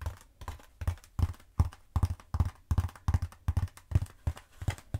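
Long acrylic nails tap and scratch a long black textured foam roller held horizontally. The result is a quick, uneven run of soft, dull taps with a low thumping body and dry, short scratchy edges.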